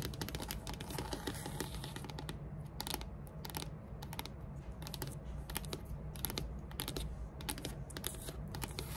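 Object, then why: Wooden tabletop. Long metallic nails tap and scratch across a large, solid, flat dark wood-grain tabletop. Quick, dry, bright clicks come in rapid irregular bursts, with raspy scratching in between, over a steady low rumble.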